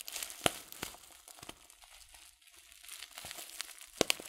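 A filled, glossy coated-paper tea packet of loose-leaf tea is crinkled with the fingertips. Soft, bright crinkling and rustling runs throughout, with a few sharper crisp snaps near the start and end. The crackles are mostly high-pitched with almost no low end, and each dies away instantly.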